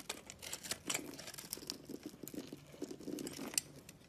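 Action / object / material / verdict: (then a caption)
scrape / bar of soap / soap / none. A box-cutter blade scrapes across the scored pink face of a palm-sized solid round soap bar with an orange rim and pink core, held in one hand, crumbling off small cubes. The sound is a quiet, dry, crisp scraping and crumbling with many short, bright ticks and crackles over a soft, low rustle.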